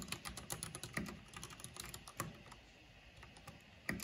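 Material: Plastic.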